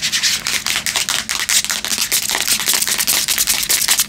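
Long nails scratch and tap the grey metal back of a Samsung tablet held in the hands. About 25 quick, irregular, bright scratchy bursts follow one another, each fading almost at once, with almost no low end.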